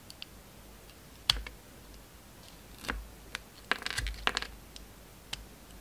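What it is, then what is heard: Bar of soap being cut. A solid tree-shaped bar of soap with a purple glitter surface and a pale green core is held in the hand and cut with a metal utility knife blade. A series of sharp, bright clicks and short crisp scrapes sound over faint background hiss, each dying away almost at once.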